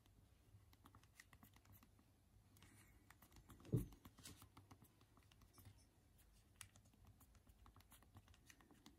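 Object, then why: Small plastic phone keyboard keys. A Unihertz Titan smartphone, held in both hands in dim light, is typed on quickly with both thumbs on its small physical plastic keys. The result is a dense run of quiet, short, clicky taps with one louder knock partway through, over a steady low hum.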